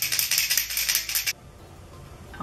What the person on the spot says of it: you can hear like it has a little ball in there